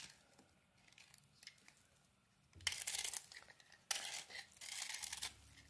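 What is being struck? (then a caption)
Bar of soap scraped with a small metal blade. A small metal blade scrapes the crumbly white surface of a dry, solid pink and white bar of soap held in the hand. Faint, soft scratches fill the first few seconds, then come louder, bright, gritty scraping strokes in two longer stretches.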